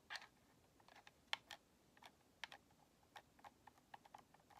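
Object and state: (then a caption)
Plastic game controller. Long nails tap and rub on a white hollow plastic Xbox controller and its purple rubber thumbstick grips. A quiet, irregular string of short, dry, bright clicks and soft scrapes sounds against near silence. Each tap dies away almost instantly, like light typing.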